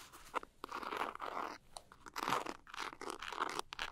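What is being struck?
Small glitter-coated cosmetic pouch.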